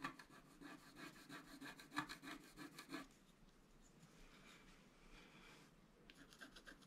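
A wooden stylus scrapes long strokes across a flat black-coated scratch art card, making a dry, raspy scratching. For the first three seconds the strokes come as a steady run of louder, rhythmic scrapes, then fade to a quieter, continuous light scratching. A few soft strokes return near the end.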